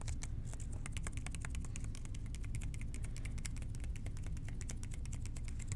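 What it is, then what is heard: Hollow plastic spray bottle. Fingertips tap the sides of a large, hollow blue plastic spray bottle with a white trigger. Rapid, soft, gentle taps patter continuously over a dense low rumble, each click short and dry.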